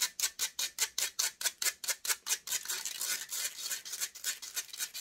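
Long grey nails and fingertips scratch and rub the hollow metal mesh head of a silver microphone, its grille. About a dozen sharp, evenly spaced scratches come first, each a bright, hissy burst with almost no low end. These then blur into a denser, continuous rubbing texture that stays high and crackly to the end.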